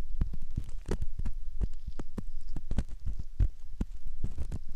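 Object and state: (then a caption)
Silicone ear model scraped with a metal ear pick. A metal ear pick scrapes inside the canal opening of a soft silicone ear model. The result is a rapid series of short, dull, muffled scrapes and thumps, almost entirely low in pitch, with brief faint bright ticks.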